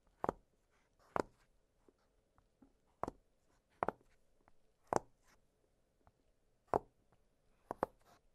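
Fingertips press and pop the hollow bubbles of an octagonal blue silicone pop-it fidget toy lying flat on a glittery surface. Eight short, sharp, quiet pops ring out at irregular intervals, the last two in quick succession, each dying away almost instantly. Faint soft ticks fill the gaps between them.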